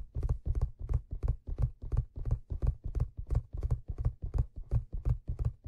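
Fingertips tap and scratch the stitched leather crown of a hollow black leather fedora hat, heard close up. The result is a steady, rhythmic run of soft, dull, low thumps, each carrying a faint bright scratchy rustle that dies away almost at once.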